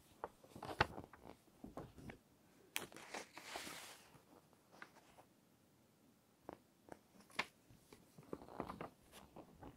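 Fingertips and long nails slowly turn and smooth the text pages of an open paper magazine. Soft, crisp paper rustles and sharp little taps come in scattered bursts, with a longer bright swishing page turn near the middle, all quiet and close.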